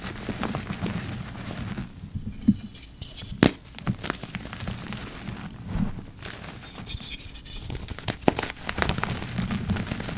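Yellow rubber-gloved fingertips press into a heap of dry, lumpy purple-dyed gym chalk and crush it. A steady, soft crunch and crackle runs throughout, weighted toward the low end, with a few sharper snaps standing out as lumps break.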